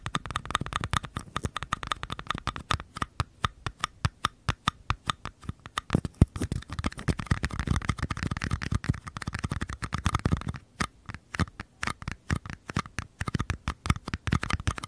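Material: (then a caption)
Paper. Small, empty mini paper cups, held sideways with one in each hand, are tapped and scratched on their outer walls by fingertips and nails. The result is a rapid, steady stream of dull, hollow taps with short, dry decay, mixed with light scratching and a brief pause near the eleven-second mark.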